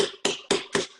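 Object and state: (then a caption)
Ripe watermelon. A watermelon is tapped four times, each tap giving a quick, resonant knock with a steady low tone near 400 Hz and a bright attack that fades within a fraction of a second. The hollow, drum-like ring rather than a dull thud marks it as ripe, since a dull thud would mean collapsed, mushy flesh.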